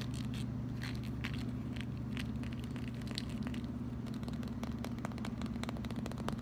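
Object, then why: Plastic wide-tooth comb. Fingernails strum and scratch across the teeth of a solid, hand-sized red plastic wide-tooth comb. Quick, dry clicks and short crackling scrapes come in an uneven patter, with bright edges that die away almost instantly. A steady low hum runs underneath throughout.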